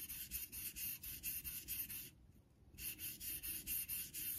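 A vintage Geneva Cutlery steel straight razor is stroked back and forth in honing strokes, guided by the fingertips, across a solid light-blue rectangular synthetic Naniwa water stone held in a metal holder over a steel sink. About 15 bright, hissing scrapes repeat in a steady rhythm, with a brief quiet pause midway before the strokes resume.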